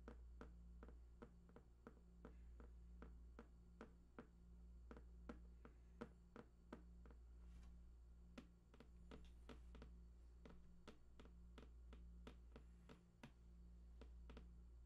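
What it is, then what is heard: Cardboard box. Fingertips tap near the right edge of a large, hollow, printed cardboard PlayStation 4 box with unknown contents. Quick, dry, irregularly spaced taps with almost no ring sit over a steady low hum.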